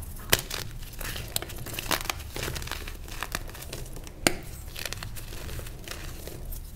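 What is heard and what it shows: A solid, palm-sized purple block of reformed gym chalk is held and broken, and its pieces are crumbled between bare fingers and thumbs over a tray of loose purple chalk powder. A steady dry, gritty crumbling and crinkling runs throughout, with low rumbling handling noise underneath. Occasional sharp, bright snaps stand out as the block cracks apart.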